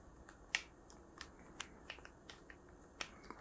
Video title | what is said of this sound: ASMR - Soft Spoken Art Talk with Soft Tapping To help You Relax/Chillax. | because of the type of plastic and then the fact that they're Hollow